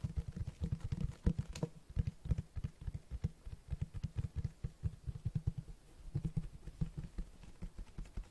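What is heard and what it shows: Fingertips tap and scratch the cloth-textured cover of a large black Berserk hardcover book held up in the air. About 33 soft, dull, low thuds come in quick irregular runs, each dying almost instantly, with faint scratchy rustle between them and no bright ring.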